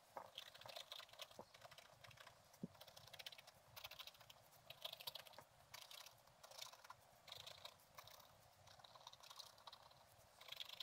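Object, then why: Black-coated scratch-art paper scratched with a wooden stylus. A thin wooden stylus scratches repeated strokes across a flat page of black-coated scratch-art paper with a gold underlayer, lying in a book. Quiet, bright, dry scratching comes in short bursts with tiny clicks and almost no low end.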